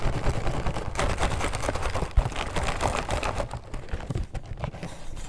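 Short natural nails and fingertips tap and scratch the surface of a closed, small, hollow blue printed cardboard box of Mini Oreo cookies with its contents inside, held in both hands. The result is a dense, irregular stream of dry, dull taps and scratchy rustles, heavy in the low end, with one sharper, louder knock near the middle.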